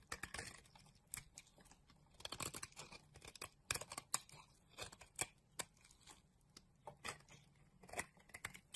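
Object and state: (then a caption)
Bar soap being shaved. A utility knife blade scrapes flakes off a solid green bar of soap held in the palm. The sound is a run of quiet, bright, crisp scraping and crackling strokes with short gaps between them and almost no low end, each stroke dying away quickly.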